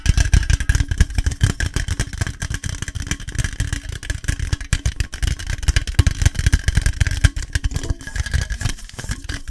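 An aluminium Monster Energy drink can is tapped fast and aggressively, giving a dense, continuous stream of quick, dull taps that are mostly low thuds with little high ring. Each tap dies away almost instantly.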